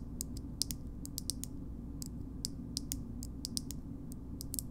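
Long nails tap and scratch the shiny gold metal lid of a small cosmetic jar. Quick, sharp, bright clicks come at an irregular pace over a steady low rumble. Each click dies away almost at once.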